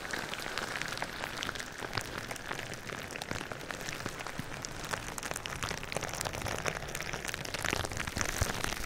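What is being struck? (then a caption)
Plastic bubble wrap. Fingertips and nails tap and scratch clear plastic bubble wrap laid over the microphone. The result is a dense, steady patter of crisp plastic crackles and brushing scratches, bright and close, sounding much like rain on a surface.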